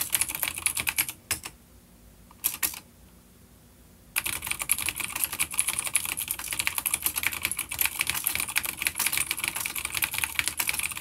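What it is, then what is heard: Vintage clicky mechanical keyboard. Both hands type with their fingertips on a full-size dark grey plastic vintage mechanical keyboard, an older B-grade unit with grey and dark keycaps and clicky blue switches, resting on a wooden desk. Rapid, bright, crisp key clicks patter steadily, stop for a few quiet seconds broken by short bursts, then resume densely to the end.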